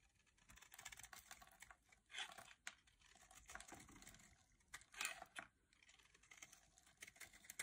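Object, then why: Bar soap cut with a metal blade. A palm-sized, solid bright green bar of dry soap is carved with a metal blade into crisp flakes. Bright, dry scraping and cutting strokes crackle at uneven intervals, with louder bursts of shaving near the 2- and 5-second marks.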